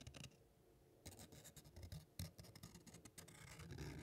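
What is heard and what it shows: A small crumpled piece of thin white paper is held in both hands while fingertips rub and crinkle it close to the microphone. A short burst of crackling gives way to a near-silent pause. Then a steady run of dense, bright crinkles and rustles follows, with a soft low rumble underneath.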